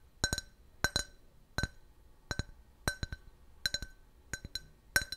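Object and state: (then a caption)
Glass can-shaped drinking glass. A clear, hollow, empty can-shaped glass beer glass is turned in the hand and tapped with fingernails. About eight quick bursts of two or three taps give bright, short clinks with a glassy ring near 1.5 kHz.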